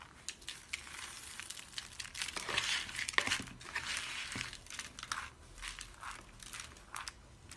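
Cupped hands with pink nails squeeze and crush brittle, solid white dry soap shavings held above a cardboard box. The result is a dense run of dry, crackly crunches, bright and high with very little low end, coming in uneven bursts that swell and fade.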